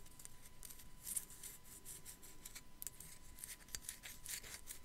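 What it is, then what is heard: Glazed ceramic skull scratched and tapped with nails. Long black acrylic nails scratch and tap a small hollow white glazed ceramic sugar skull with raised decoration, held in the hand. Quiet, crisp, high-pitched scratching and light ticking clicks come in quick uneven bursts over a faint steady tone.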